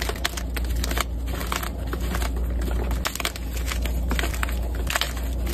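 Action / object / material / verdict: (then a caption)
scrape / magnesium carbonate chalk block / chalk / none. Solid white gym chalk block pieces (magnesium carbonate) are crushed between two hands with red-painted nails and crumble into powder over a dark surface covered with chalk pieces. A dense, continuous stream of crunchy crackles and gritty crumbling is heard, with bright snaps over a steady low rumble, at a fairly even loudness throughout.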